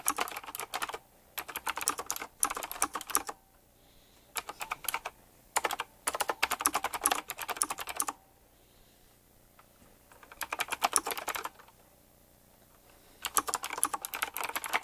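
A retro typewriter-style mechanical keyboard with round plastic keycaps and metal rims is typed on continuously with fingertips. It gives bursts of sharp, bright clicking keystrokes separated by short quiet pauses.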